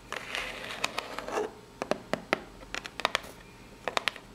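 Long pink nails scratch across the ribs of a small, hollow, brown corrugated cardboard box that is held up. The first half is a dense, rough, papery scraping, followed by a series of separate, sharp, bright scratches and ticks that stop dead with no ring.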